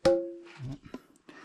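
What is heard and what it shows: A large stone slab deep in a cave is struck, giving a sharp, hard, very crisp wood-block-like ring with a clear tone near 540 Hz that fades over a few tenths of a second. A second, much quieter knock follows about a second later.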